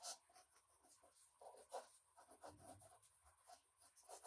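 A red-orange colored pencil held in the fingertips scratches back and forth across a large, thin white drawing paper sheet on a wooden desk, shading a figure's body. The quiet, dry scratching comes in irregular short strokes with bright papery hiss, and a few strokes stand out louder than the rest.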